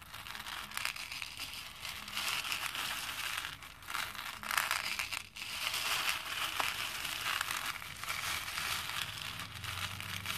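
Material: Plastic.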